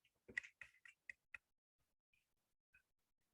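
A cured feather quill, at least six months off the bird, is tapped five times in quick succession, giving short, dry, high-pitched clicks, followed by a couple of fainter ticks. The hard tapping sound shows the quill has cured and hardened, unlike a freshly plucked feather, which is soft and pliable.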